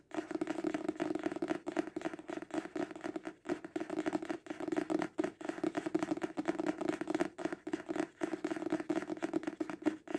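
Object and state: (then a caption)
Paperback book. A paperback book, held horizontally, is tapped rapidly on its cover with fingertips and nails. The result is a dense, continuous patter of dry, papery taps with a hollow, papery tone centred around 300 Hz, each tap dying away almost instantly.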